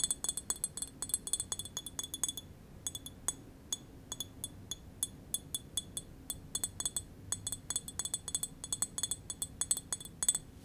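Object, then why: Small glass wine bottle. A small green glass wine bottle with a label and metal screw cap is tapped near the shoulder with fingernails and fingertips. The result is rapid, irregular bursts of bright, glassy clinks and chinks that ring only briefly, with short pauses between runs.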